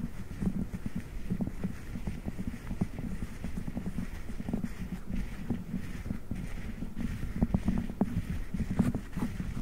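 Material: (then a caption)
Silicone. Fingertips press and rub a soft blue silicone spiked massage pad wrapped over a microphone grille. The result is a steady stream of low, muffled rubbing and soft, dull tapping thumps centered around 200 Hz, with almost no high content.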